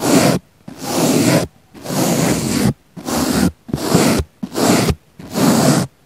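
A small pink bristle brush is brushed across a round, solid, soft, palm-sized pink foam sponge, away from a microphone set in its centre. Seven separate soft, broadband scratchy strokes are heard, each a breathy rustle lasting under a second, with brief silences between them.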